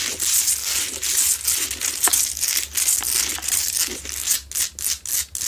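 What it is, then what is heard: Salt rock lamp scratched and tapped with nails. Long nails vigorously scratch and tap across a medium, solid, rough Himalayan salt rock lamp that is lit. The sound is a bright, dense rasping hiss with almost no low end, broken by sharp, dry ticks that die away quickly. It eases into shorter separate bursts near the end.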